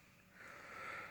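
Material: Nothing is struck.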